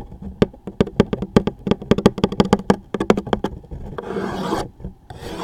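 A toothpick or fingertip scratches and rubs the top label of a closed, hollow, medium-size cardboard tissue box, making about twenty short, dry raspy scratches with a hollow low body tone around 200 Hz. The taps then give way to a longer, brighter continuous rub, a brief pause, and a final stretch of rubbing.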